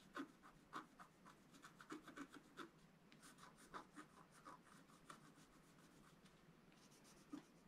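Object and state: Scratch-art card being scratched.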